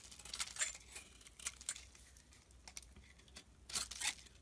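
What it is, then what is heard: Glycerin soap bar being shaved. A metal blade scrapes long shavings off the corners of a translucent brown glycerin soap bar held in the hand. Bright, crackly scraping bursts rise and fall over a faint low hum, with quieter gaps between the cuts.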